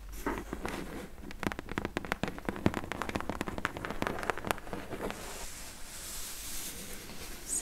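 Long acrylic press-on nails tap and scratch the sides and corner of a medium, closed, hollow corrugated cardboard H&M shipping box with its contents not visible. A rapid series of short, dry clicks and crackly taps gives way to a softer, bright scratching hiss in the last couple of seconds.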